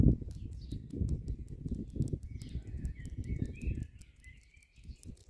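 Long nails and fingertips tap and scratch the rough, porous tops of solid cylindrical concrete posts in a concrete palisade garden border, making a dense run of dull, low knocks and gritty scrapes. Birds chirp and whistle in the background of the outdoor ambience. The tapping thins out near the end, leaving mostly the bird calls.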